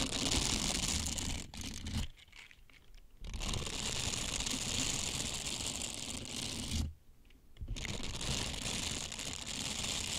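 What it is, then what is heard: Silicone scrubbers rubbed together. A pair of small blue silicone scrubbers with bristled surfaces and a hollow cup shape is flexed and rubbed against each other with the fingertips close to the mic. The result is a dense, bright, scratchy crinkling and rubbing with a low thumping undertone, broken by two brief near-silent pauses before the rubbing resumes.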